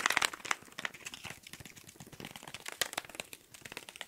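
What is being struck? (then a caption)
Small cardboard box. A small, hollow pink cardboard box is held in the hands and tapped fast with fingertips and nails in front of the mics. The result is a dense stream of quick, dry, crinkly clicks, bright and papery with almost no low end, each tap dying away at once.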